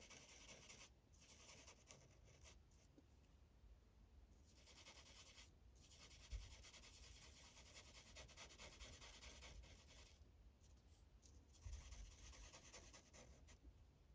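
A blue Sharpie felt tip is rubbed in coloring strokes across a thin white coloring page on a plastic clipboard. It makes a quiet, steady, bright scratchy hiss, with brief pauses between passes and a low rumble underneath.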